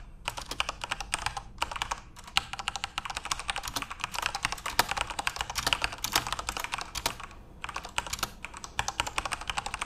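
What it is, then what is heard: Plastic mechanical keyboard being typed on. Fingertips type steadily on a full-size RGB-backlit Corsair mechanical keyboard with plastic keycaps. The result is a dense stream of short, bright clacking keystrokes that die away almost instantly, with a few brief pauses between bursts.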